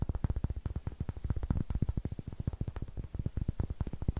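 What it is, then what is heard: Pine wood block. Fingertips and nails tap and scratch a solid, light pine wood block held in the hand, making around thirty quick, dull, low knocks in a steady rapid patter. Each tap dies away almost instantly, with the sound sitting mostly in the low end and almost no bright edge.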